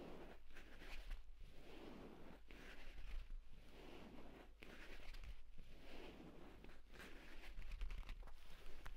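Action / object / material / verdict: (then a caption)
scrape / leather tablet case / leather / none. Short nails from both hands rapidly scratch and tap the cover of a purple pebbled leather folio tablet case lying flat on a bed, its stitched spine visible. The sound is a dense, continuous rustling scrape that swells and dips in quick bursts about once a second, with bright crackly texture over a steady low hum.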